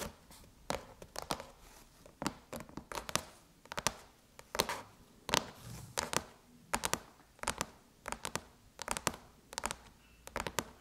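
Long chrome nails tap and scratch the surface of a closed silver aluminum MacBook lid near the Apple logo. Sharp, bright clicks come in irregular clusters, mixed with brief scratchy rasps, and each dies almost instantly, leaving quiet gaps between.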